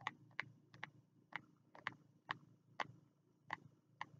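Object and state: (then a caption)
Card-covered spiral notebook. Fingertips tap the green card cover and edge of a small green spiral notebook held low against the chest, giving eleven short, dry, quiet clicks with a bright, papery snap. Each tap dies away almost instantly over a faint low hum.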